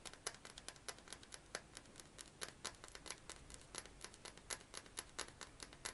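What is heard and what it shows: A fingernail taps quickly and unevenly on a clear glass perfume bottle and its metal cap, making a quiet, rapid series of sharp, bright clicks. Each tap dies away almost at once, with little low end.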